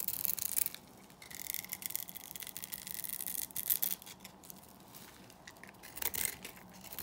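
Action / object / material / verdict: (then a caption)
scrape / bar soap scraped with a small metal blade / soap / none. A small metal blade scrapes cubes off a dry, solid black Korean bar soap that has been scored into a grid. The result is quiet, dry, bright scraping and crackling in uneven bursts, with short, sharp grains of sound that fade almost instantly.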